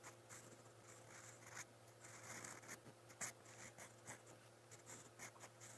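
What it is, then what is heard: Pen nib writing on notebook paper. A silver steel fountain pen nib scratches across a lined white page of a spiral notebook while writing brown Korean text. Quiet, bright, papery scratching comes in short irregular strokes and taps over a faint steady low hum.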